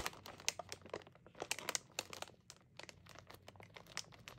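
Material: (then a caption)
Plastic film. A full, sealed metallized plastic-film Oreo bag is held in the hands while long lilac nails tap and scratch the film and fingers crinkle it. Dense, bright crinkling is punctuated by many sharp, short clicks and taps with almost no low end.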